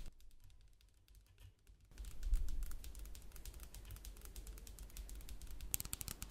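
Long black pointed nails tap quickly on a partly filled clear plastic spray bottle with a printed label, held close. A steady stream of light, crisp clicking taps is heard, quiet at first and then louder after about two seconds over a low rumble, with a few sharper bright clicks near the end.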